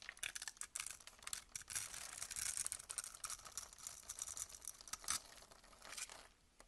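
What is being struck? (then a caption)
Glycerin bar soap cut with a blade. A box-cutter blade scrapes small cubes off a solid, rectangular, translucent amber glycerin bar soap that is held in the hand and scored in a grid. The result is a dense run of crisp, bright scratching and crackling with quick, tearing strokes. It is almost entirely high-pitched, with very little low end, and thins out near the end.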